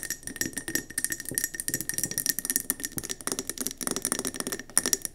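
Fast fingernail tapping on a round gold mercury glass candle jar, first resting on the table and then tilted in the hand. The clip is a dense stream of short, bright clicks with a steady glassy ring near 2 kHz and almost no low end, each tap dying away instantly.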